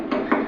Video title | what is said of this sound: Bolts, Placement considerations | sound it well bang it to see if it sounds hollow or something